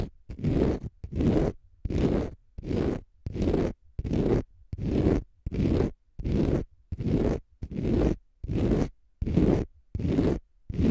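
Fingernails scratch a palm-sized, pale green konjac fiber facial sponge, solid and porous, in about fifteen steady, separate strokes. Each stroke is a dull, rough, low-heavy scrape lasting about half a second, with short silences between.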